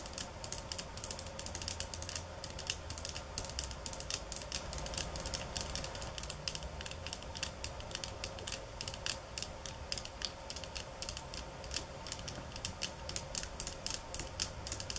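A bamboo-slat placemat lying on a countertop is tapped quickly with long nails, giving a steady stream of rapid, dry, bright clicks and rattles over 15 seconds. Each tap dies away almost instantly, over a faint low background rumble.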